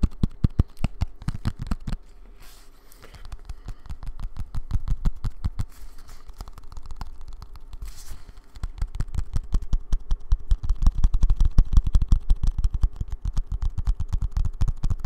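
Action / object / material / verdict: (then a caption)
tap / small cardboard box / cardboard / none. Long nails rapidly tap a small, hollow brown kraft cardboard box held in both hands, making a dense, irregular stream of short, dry, low thuds with almost no ring. The tapping softens for a moment around the two- and eight-second marks, then picks back up fuller and louder.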